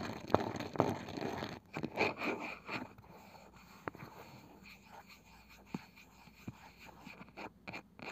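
Slow fingernail scratching rasps across the pale wooden lid of a palm-sized round wooden box with a woven side, giving dry, crackly scrapes. Sharp, short fingertip taps on the lid follow, spaced apart over a quiet background.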